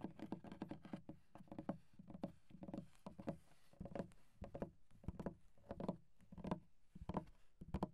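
Fingertips of both hands tap and drum on the flat surface of a solid wooden desk with visible wood grain. Dozens of short, dull, low knocks land in quick, uneven bursts and clusters, each dying away almost instantly with no ring.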